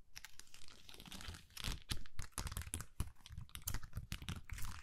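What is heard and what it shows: A hand-sized flexible plastic sticker sheet covered in rows of small purple and white acrylic rhinestones is held in both hands and scratched across the gems with long manicured nails while the sheet is bent a little. The result is a dense run of quick, dry clicking and crinkling scratches with bright, crisp transients over a low, muffled rumble, rising and falling in short bursts.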